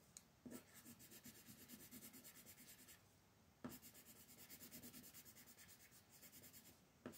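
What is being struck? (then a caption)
Colored pencil on a paper coloring book page. A magenta colored pencil, held in fingers with painted nails, steadily shades a thin paper coloring book page lying flat on a wooden table. Two long runs of quick, rhythmic back-and-forth scratching are heard, each starting with a sharp tap of the pencil tip. The strokes make a bright, papery rasp over a soft low body.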